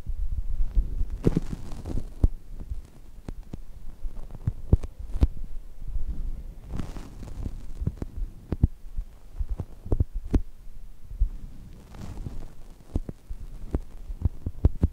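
Flat hands with long nails press and rub the top of a brown polyurethane foam chocolate toast squishy, soft and solid. This produces a dense, muffled low thumping and rustling, punctuated by quick, sharp nail clicks that flick up into a bright range.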